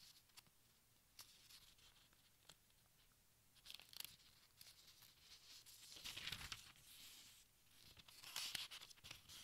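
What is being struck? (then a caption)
Thin paper pages of a large book. Fingertips with nails lift and turn the thin paper pages of a large open textbook, making quiet, bright, crinkly rustles and soft ticks. The sound builds to louder crackling swells as pages are flipped over near the middle and end.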